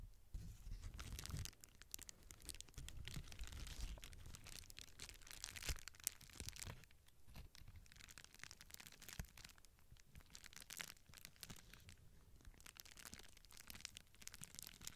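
A small hand-held piece of clear plastic bubble wrap with air-filled bubbles is held close while fingertips with long painted nails press, pinch and crinkle the bubbles. A steady, dense stream of bright crinkling and crackling continues throughout, with a louder, fuller rumble in the first second and a half.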